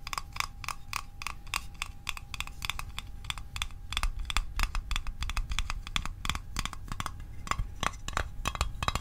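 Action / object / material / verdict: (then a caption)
tap / small thin sheet-metal mint tin / thin metal / none. A small, hollow, rectangular printed metal Altoids Arctic mint tin is held and tapped on its sides and lid with the fingertips and short nails. It gives a quick run of crisp, short metallic ticks with a bright ring centered near 1.2 kHz that dies away almost instantly, over a soft low rumble.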